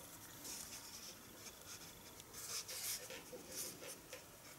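A white eraser block is rubbed by hand across pencil lines on white drawing paper lying flat on a wooden table. The quiet, bright, papery scratching comes in uneven back-and-forth bursts with little low end.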